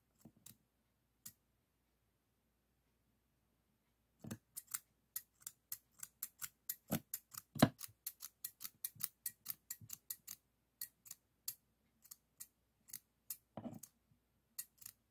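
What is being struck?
Stainless steel thinning shears.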